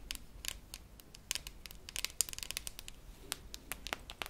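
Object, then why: Metal tin canister with plastic lid. A hollow cylindrical silver metal tin with a red plastic lid, held in the hand, is tapped and scratched with long manicured nails. Many quick, bright clicks and scratchy ticks come in irregular bursts, each dying away almost instantly over a faint low background.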